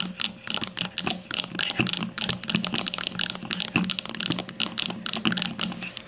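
Long matte nails of both hands tap rapidly on the front label of a grey plastic deodorant stick standing upright on a table. The result is a dense, uneven stream of crisp, bright clicks with a light hollow plastic knock underneath, each tap dying away almost instantly.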